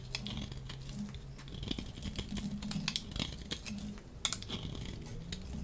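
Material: Soap.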